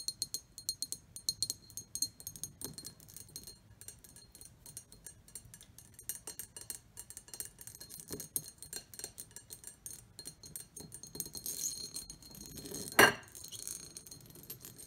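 Long nails tap and scratch the ridged inner surface and rim of an empty, medium-sized, shallow pressed/cut glass bowl with a textured pattern. The result is a quiet stream of bright, short clicks and clinks with high scratchy texture and little low end. Near the end comes one louder, sharper clink.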